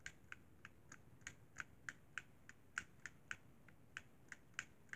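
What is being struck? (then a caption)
Plastic game controller. Fingertips tap the shoulder bumpers and top edge of a hollow white plastic Xbox 360 controller, making seventeen short, dry, hollow clicks at an uneven typing-like pace. Each tap is quick and bright with almost no ring, heard over a quiet, steady background hiss.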